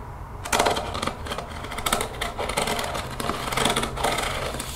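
A translucent plastic spray bottle, partly filled with greenish liquid, is held in the hands and tapped rapidly with long painted fingernails on its body and white trigger head. The result is a fast, dense run of bright, hollow plastic clicks that start after a brief quiet moment and continue in uneven bursts, each tap dying away quickly.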